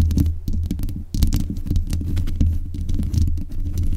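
Long nails tap and scratch the metal mesh grille on the head of a black USB condenser microphone. The result is a dense run of low, thumping taps with a strong boom around 80 Hz, and brief bright scratchy clicks over a continuous low rumble.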